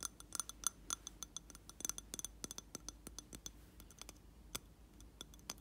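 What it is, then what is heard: Glass candle jar. Fingernails tap the side of a reddish round glass jar holding a lit candle filled with wax. The taps make a quick, irregular run of bright, dry clinks and clicks with a faint high ring that dies out almost at once, over a quiet background.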